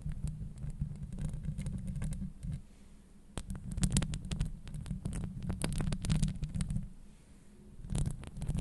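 Very long blue acrylic nails scratch and tap directly on the hollow woven steel mesh grille of a Blue Yeti USB microphone. The result is a deep, rumbling rustle punctuated by many sharp, bright clicks. It swells louder, dips briefly near the third second and again near the seventh, then returns.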